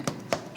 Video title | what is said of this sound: Destination Goûts - Bruzon | on regarde s'il a de l'ouverture